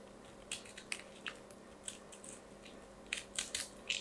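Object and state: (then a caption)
Carved soap ball being scraped. A small solid lilac soap ball is held in both hands while a craft knife blade and long nails scrape and shave crunchy flakes from its surface, dropping them onto a pile of soap shavings below. Bright, crisp crunching scrapes come in irregular bursts over a quiet, steady background, each one short and dry with almost no ring.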